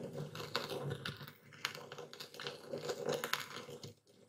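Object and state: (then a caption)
Epsom salt crystals being crushed. A dark speckled stone pestle grinds and crushes coarse white epsom salt crystals in a full wooden bowl steadied by one hand. Dense gritty crunches and sharp crackling clicks overlap with a bright, scratchy texture and a low rumble beneath. The grinding eases to a quieter scrape near the end.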